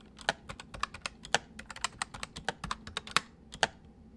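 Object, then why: Plastic mechanical keyboard. A full-size white plastic mechanical keyboard with white keycaps sits on a wooden desk while the left hand types on the main keys and the right hand taps the numpad with its fingertips. About 25 quick, bright clicks and clacks come in an uneven rhythm, each dying away almost at once, with some louder strikes standing out.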